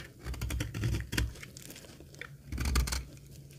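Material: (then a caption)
Soap. A metal box-cutter blade cuts and scrapes the surface of a solid, dry green laundry soap bar held in the palm. It makes bursts of dry, crisp crackling and scratching with bright, sharp streaks over a dull low rumble. Two louder stretches of cutting are separated by a quieter pause.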